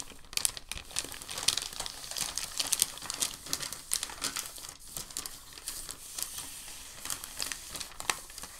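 A large, thin, crinkled white packing paper sheet lies on a dark table while fingertips lift and fold its edge, then smooth it flat. The result is a steady stream of bright, sharp crinkles and soft rubbing that carries almost no low end.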